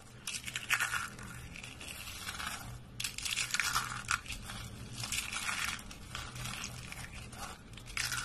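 Small hollow spiral curls of dry white soap are crushed in the fingers and fist over a wooden surface. They make dense, bright, crisp crunching and crackling in repeated bursts, with a faint low hum underneath.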